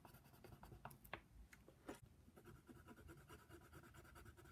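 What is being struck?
Paper sheet scraped by a wooden colored pencil.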